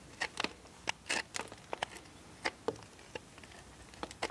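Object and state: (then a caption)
Bar of soap being scraped. A steel multitool knife scrapes a solid blue bar of soap held in a hand, over a pile of shavings. A quiet, irregular series of short, dry, bright crackling scrapes follows, each one dying away almost at once.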